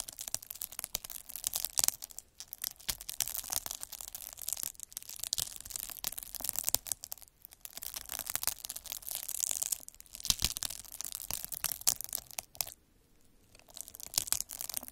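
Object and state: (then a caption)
Plastic bubble wrap. A metal-needle derma roller is rolled and pressed across a clear plastic bubble wrap sheet with air-filled bubbles, scratching its surface. The result is a dense, bright crackling and scratching with many sharp, quick ticks and brief quieter pauses. Almost no low end is heard.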